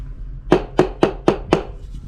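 Five quick taps on a ceramic floor tile laid on a concrete porch give short, hollow knocks centred around 360 Hz, each dying away almost at once. The tile sounds hollow because it has come loose; most of these tiles were loose, and about two-thirds had no adhesive under them.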